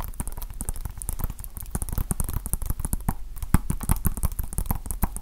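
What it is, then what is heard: Plastic game case. A small hollow plastic Nintendo Switch game case, held in both hands, is tapped rapidly with fingertips and nails. The result is a dense, uneven stream of short, dry taps with low hollow thumps and bright clicky edges, each dying away almost instantly.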